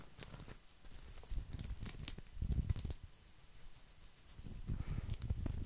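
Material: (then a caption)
Straw. Fingertips and nails scratch and rub across a flat, round, coiled woven straw placemat. The result is a quiet, dry, crinkly rustling with soft low thumps and brief bright crackles. It swells in the middle and again toward the end.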